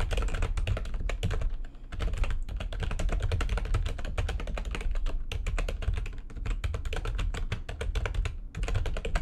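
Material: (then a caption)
Plastic. Very fast typing with long nails on the keys of a backlit plastic computer keyboard. It makes a dense, steady stream of short, crisp clicks and taps with a heavy low thump under them, briefly easing off twice before the rapid clatter resumes.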